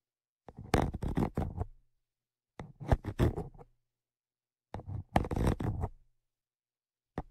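Tweezers poke and scrape between and over the metal grilles of a Zoom H5's X/Y microphone capsules. Three bursts of rough, booming scratching and tapping are heard, heavy in low rumble, followed by a brief final scrape.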